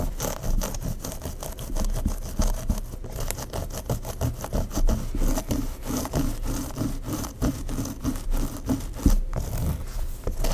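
Long pink acrylic nails scratch through a long dark hair bun held by a cream claw clip on a mannequin head, working at the nape and the sides of the bun. Rapid, steady rubbing and scratching strokes follow one another with a soft, low-heavy texture and brief crisp scrapes.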